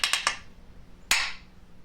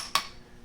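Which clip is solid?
The second.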